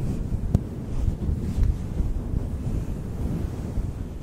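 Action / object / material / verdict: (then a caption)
scrape / synthetic fur microphone windscreen / synthetic fur / none. Fingers brush and squeeze a fluffy synthetic faux fur windscreen directly on a microphone, producing a steady, muffled low rumble with soft rustling. Nearly all the sound sits in the deep bass, with no bright content, and a few brief sharp crackles stand out above the rumble.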